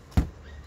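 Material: Rubber.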